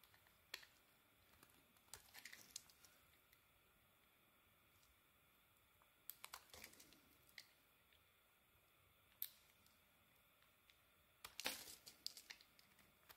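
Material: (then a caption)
Soap. A small metal blade shaves curls off the surface of a thin slab of solid beige soap held in the hand. Quiet, crisp, bright scraping and crunching strokes come in short bursts separated by near-silent pauses. Each burst ends in brief crackling as the curls come away.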